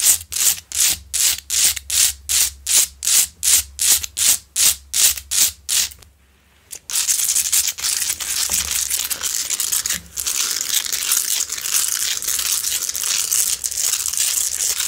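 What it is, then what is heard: Rock-salt lamp being scratched. Long nails scratch down the front and top of a large, lit, solid rock-salt Himalayan salt lamp. A quick, regular series of separate bright, gritty strokes plays for about six seconds, then a brief near-silent pause. After that comes continuous, dense, hissing scratching that runs to the end with almost no low end.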